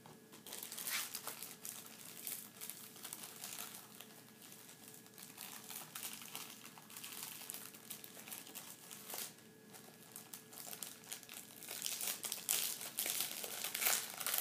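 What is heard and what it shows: A thin, folded paper test booklet is held in both hands and flipped and crinkled with the fingertips, its light, flexible sheets rustling and crumpling. The quiet, bright crinkling runs almost continuously, with louder bursts near the start, middle and end over a faint steady background tone.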